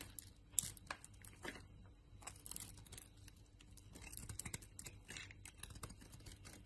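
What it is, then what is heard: Bar soap being carved. A utility knife blade carves a solid bar of soap, striped purple, white and red and held in the hand, into flakes. Quiet, dry scraping and crisp crackling strokes come in quick bursts with a bright, papery edge over a faint low hum, each cut ending abruptly with no ring.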